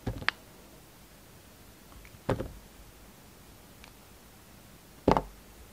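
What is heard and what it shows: A utility knife blade cuts thin slices from a hand-sized, solid turquoise-green bar of soap that has been faceted by carving. Short, crisp cutting and scraping sounds come in separated bursts against a quiet background, each with a soft low thud and a bright, dry edge that stops quickly.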